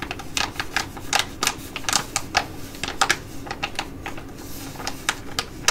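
Long nails tap and scratch the front and back of a flat, thin plastic foil sheet mask pouch with a holographic print, a Be Shineeee Jewelry Mask held in both hands. The result is a quick run of sharp, bright crinkling taps with short gaps between them over a faint low hum.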